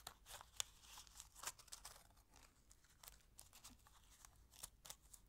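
A small, thin, empty orange-and-silver aluminium foil wrapper from a chocolate egg is held in both hands and crinkled and folded with fingertips and long nails. Quiet, bright, irregular crackles and sharp little snaps are heard, with almost no low end and no ringing after each crinkle.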